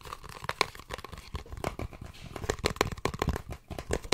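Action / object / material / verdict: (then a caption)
tap / small cardboard box / cardboard / none. Fingertips and painted nails tap and scratch the surfaces of a small, hollow, white and blue printed cardboard earphone box held in both hands. A quick, irregular run of short, dry taps with hollow knocks is mixed with crinkly, papery scratching. Each tap dies almost at once.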